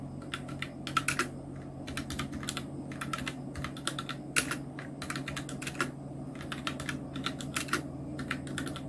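Continuous two-handed fingertip typing on a full-size black Nubwo Illution NK-70 mechanical keyboard with Outemu red switches, round plastic keycaps and blue backlight. Rapid, irregular key clacks with bright, sharp tops and very short decay sit over a steady low hum.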